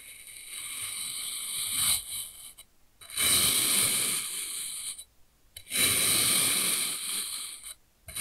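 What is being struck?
Compressed kinetic sand block cut with a steel knife.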